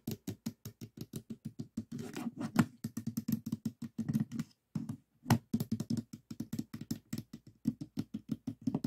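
Fingertips tap on the top edge pieces of a small stickerless plastic 3x3 puzzle cube with a hollow mechanism, resting on a table. The result is a quick, steady run of short, dry, hollow clicks centered low around 230 Hz, with a brief pause just before the five-second mark before the tapping resumes.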